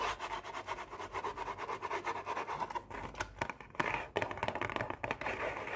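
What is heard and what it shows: Long painted nails tap and scratch a hollow Oreo cookie box made of printed cardboard with cookies inside. A quick, even run of light, dry taps gives way to louder, irregular scratches and sharper knocks against the cardboard.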